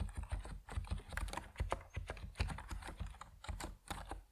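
Fingertips type steadily on an Epomaker NiZ Plum Atom 68, a compact plastic mechanical keyboard with white and purple PBT keycaps. It gives a quick, even run of short, dull keystrokes, heavy in the low end, each dying away almost at once.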